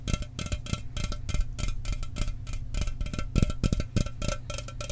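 A sealed, hollow 12 oz Mountain Dew aluminum soda can is tapped fast with fingernails and fingertips. The result is a steady stream of quick, dry taps: mostly dull and low, with light metallic clicks on top. Each tap dies away almost at once.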